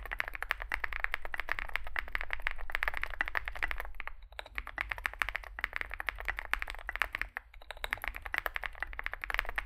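Both hands type continuously with their fingertips on a compact 65% Zoom65 mechanical keyboard with an aluminium case, foam filling, lubed switches and SA plastic keycaps, resting on a desk mat. A dense stream of short, crisp clacks centres around 1.8 kHz over a steady low background rumble. The typing briefly thins out near 4 and 7 seconds before resuming at the same pace.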